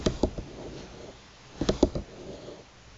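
Long, pointed, polished nails tap and scratch across a flat bamboo table mat with solid thin slats lying on a table, worn by a hand with metal rings. Five short, dry clicks come in two clusters, separated by a soft, low scratching rustle.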